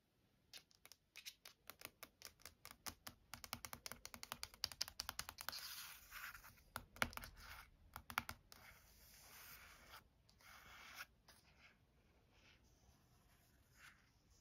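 Long painted nails and fingertips tap and scratch the glossy coated paper front cover of a large, flat, solid Taschen Chagall paperback art book lying on a wooden desk. Rapid bright clicking taps come in quick bursts, then give way to dry, hissy scratching strokes across the cover that fade to softer scraping near the end.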